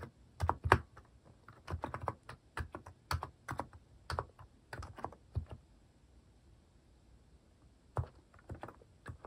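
Slow fingertip typing on a compact mechanical keyboard with a white plastic case and cat-themed plastic keycaps. Short, dull plastic clacks with a low, thocky body land in uneven bursts, each dying away almost instantly. After a quiet pause near the end, a few more taps follow.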